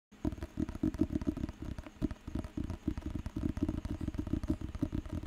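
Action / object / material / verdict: tap / thick paper book with glossy cover / paper / none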